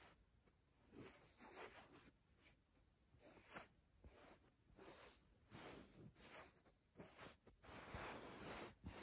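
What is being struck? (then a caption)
Cotton duvet cover. Fingertips and long nails trace and scratch across a white printed cotton duvet cover with a floral pattern, its soft fabric lying on a bed. The result is quiet, irregular strokes of bright, hissy scratching and soft rustle that swell and fade, with some longer sweeps near the end.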